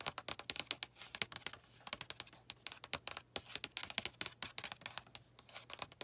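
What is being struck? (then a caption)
Paperback book with card cover. Long nails and fingertips tap rapidly on the glossy card cover of a blue paperback book lying flat. The result is a quick, uneven stream of crisp, bright clicks and light scratchy ticks that stop dead with no ring, over a faint low hum.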